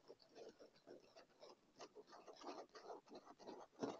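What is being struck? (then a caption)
Padded leather chair armrest. Fingertips and short nails of both hands quickly tap and scratch the dark brown, padded, solid upholstered leather armrest of a chair. The result is a quiet run of soft, dull taps mixed with dry scratching, ending in a louder tap.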